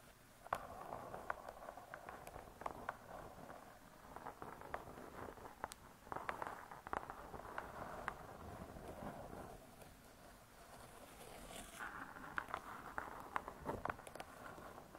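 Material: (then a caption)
Laminated board. Long nail tips tap on a closed spiral-bound hardcover cookbook with laminated board covers, using both hands. Quick, dry, clicky taps with a hollow midrange body come in irregular clusters over a soft, continuous scratchy brushing. Each tap dies away almost at once, with no ring.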